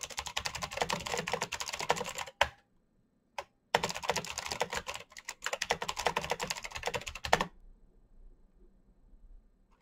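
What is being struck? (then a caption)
Plastic mechanical keyboard. Fingertips type fast on a full-size black plastic Razer mechanical keyboard with clicky green switches and RGB backlight, giving a dense stream of bright, sharp clicks. The typing stops around 2.4 seconds, a single click follows, and then it resumes until about 7.5 seconds. Only faint low background noise remains after that.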